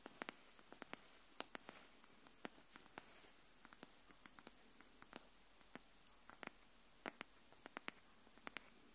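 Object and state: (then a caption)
Cardboard hardcover notebook. Long nails tap the edge of a pink cardboard hardcover paper notebook held edge-up, making around thirty short, dry, bright clicks at an uneven, gentle pace. Each tap dies away almost instantly over a quiet background with faint rustling and little low end.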